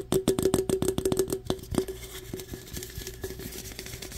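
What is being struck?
Aluminum drink can.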